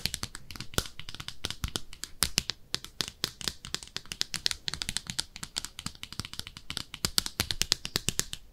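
Long nails scratch and tap an empty, small pink speckled ceramic soap dish shaped like a bathtub. Dozens of rapid, dry, bright scratches and clicks follow one another with no ringing, over a faint low rumble.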